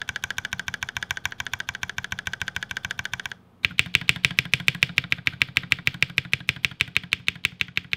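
A single fingertip repeatedly taps the long spacebar and stabilized modifier keys of a black 60% mechanical keyboard with plastic keycaps lying on a white desk. About 53 quick, bright, clacky taps come in a steady run, pausing briefly near the middle before resuming slightly louder.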